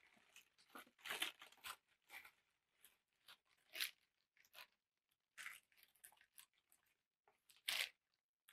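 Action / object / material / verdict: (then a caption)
scrape / thin tissue paper sheet / paper / none. A large sheet of thin black packing tissue paper is held up in front of the camera and crinkled and crumpled with both hands. Quiet, bright, crisp crackles and rustles come in irregular bursts with short gaps, with almost no low end. Each crinkle fades quickly.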